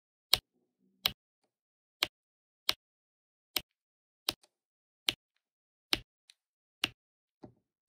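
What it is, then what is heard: Resin drills tapped onto diamond painting canvas. A hand with long nails uses a plastic drill pen to tap black resin drills onto the sticky corner of an adhesive diamond painting canvas. A slow, steady series of short, bright, dry ticks with no ring follows, separated by near silence, with a few fainter clicks in between.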